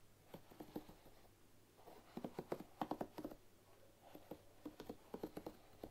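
Long nails flick and scratch the wooden pins of a bamboo paddle hairbrush resting on a wooden table. The result is quiet, dry, woody clicks and taps with a low-mid tone. They come in irregular clusters, each dying away almost at once.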